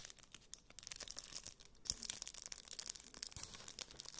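A flat, hand-sized rectangular object tightly wrapped in crinkled aluminium foil, contents unseen, is held in both hands while fingertips and nails scratch and squeeze the foil surface. The result is a quiet, dense stream of bright, crisp crinkling and crackling with many fast, sharp clicks, almost all of it in the high range with little low end.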